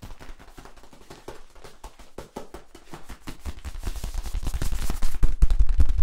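Hands rub and tap the ridges of a hollow yellow corrugated plastic tube while flexing it, making a fast, uneven run of dry clicks and scraping rattles. Deep low thumps grow under the clicks as the sound builds steadily louder toward the end.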